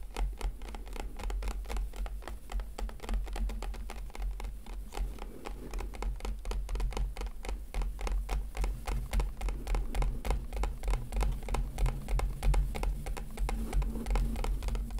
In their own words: ASMR - Gently Tapping on a plastic Packaging - One Hour One Trigger